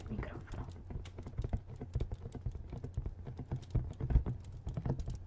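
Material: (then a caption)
Cardboard. A hand-sized, hollow, printed cardboard product box is held in one hand and tapped quickly with fingertips and nails on its flat face. The result is a fast, continuous run of short, dull, low hollow thuds with little ring, some taps landing harder than others.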